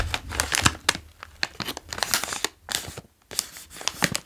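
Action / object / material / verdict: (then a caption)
scrape / foil-lined plastic snack bag / plastic foil / none. A green OLW Dill & Gräslök chips bag, medium-sized and made of foil-lined plastic, is full of chips while fingertips tap and trace its front and hands squeeze it. Sharp, bright crinkles and crackles come in quick bursts over a soft low rustle, with a brief near-silent pause around the three-second mark before the crinkling resumes.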